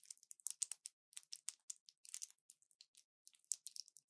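A small orange plastic blister pack with foil backing is held in both hands and squeezed and crinkled with fingertips and long nails. About two dozen quick, quiet crackles and clicks follow one another in uneven bursts. They are bright and crisp with no low end, and each stops almost instantly.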